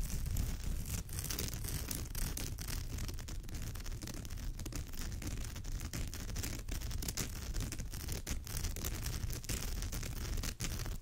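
Long nails on both hands scratch along the woven fibre rows of a straw or raffia purse. The result is a steady, dense scratching that stays at an even level throughout, with a heavy low rumble beneath a crisp, bright rasp.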